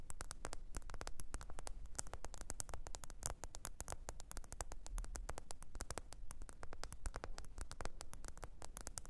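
Long pointed nails rapidly tap and scratch the glossy back, possibly glass, of a small, thin, solid black smartphone held upright on its edge. The result is a dense, steady stream of sharp, dry clicks with bright, crisp edges over a low, constant hum.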